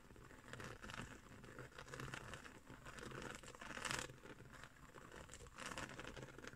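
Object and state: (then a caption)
Woven straw trivet. Fingernails of both hands scratch across the coils of a round, coiled woven straw trivet. The scratching makes a dry, crinkly rasp that swells and fades in waves, with brighter, louder bursts near the middle and toward the end.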